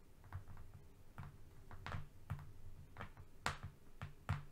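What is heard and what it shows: Short painted nails tap and scratch the surface of a long, flat strip of brown corrugated cardboard lying on a fluffy rug. The result is soft, irregular, low, hollow thumps, each with a brief bright scratchy edge, separated by quiet gaps.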